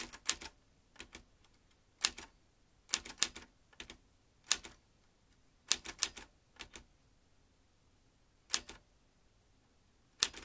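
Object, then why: Metal manual typewriter. A metal manual typewriter, seen from the side, is typed on by fingertips pressing its keys. Sharp, bright clacks arrive in irregular bursts and pairs with short pauses between, each strike dying away almost instantly against a quiet background.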